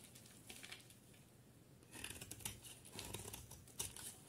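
A solid white soap bar with blue edges, held in one hand, is shaved with a utility knife blade, crumbling into flakes. Quiet, dry scraping and crinkly crunching come in uneven bursts, louder and brighter in the second half.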